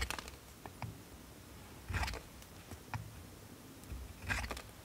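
A steel multitool knife scrapes shavings off a solid blue bar of soap held in the hand, letting them fall onto a wooden board. Several short, irregular scraping bursts combine dry, bright rasps with soft low thumps, separated by quiet pauses.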